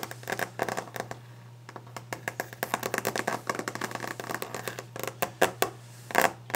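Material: Wood.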